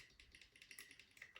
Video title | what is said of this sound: ERA Picking Guide | you can hear it tapping